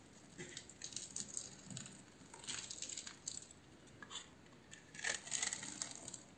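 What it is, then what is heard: Bar of soap being scraped. A palm-sized solid purple bar of soap, its surface already scored in a crosshatch, is held in one hand and shaved and scraped with a metal utility knife blade, curling off soap flakes. Bright, crisp scraping and crackling strokes come in bursts of short, dry rasps with quiet pauses between them.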